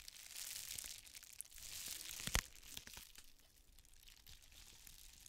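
An iridescent plastic bubble mailer, held up close, is squeezed and scratched with the long nails of both hands. It makes a steady, bright, hissy crinkling and scraping, with one sharp crackling snap just past the two-second mark. The rustling then settles into quieter crinkles.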